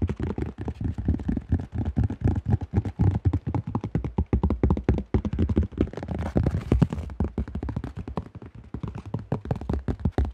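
Fingertips tap rapidly on the flight plate and underside of a cream AGL plastic disc golf disc with a thin shell. The result is a fast, uneven stream of short, dull, hollow knocks, weighted toward the low end and with almost no ring after each tap.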